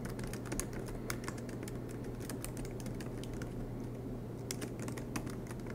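Fingertips of both hands type rapidly on the black plastic keycaps of an aluminium MacBook Pro laptop resting on a desk mat. Steady streams of quiet, crisp key clicks with bright edges sit over a low, constant hum.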